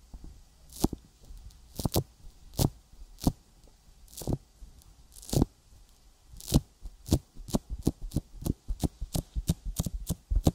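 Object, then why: Silicone microphone ear coated with petroleum jelly. Fingertips tap a silicone binaural microphone ear coated with petroleum jelly, making sticky, short clicks with a soft low thump under each one. The taps start sparse and then quicken into a steady run, about two dozen in all, each dying away almost at once.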